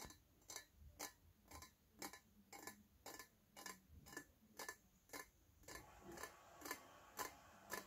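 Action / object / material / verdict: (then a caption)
tap / stainless steel teapot tapped with fingernails / stainless steel / none. A small, shiny, hollow stainless steel teapot with its lid is held in the hands and tapped with fingernails at a steady pace of about two taps per second. Each tap is a short, bright metallic click with a faint ring around 1 kHz that fades quickly. Near the end, a soft hiss rises in the background.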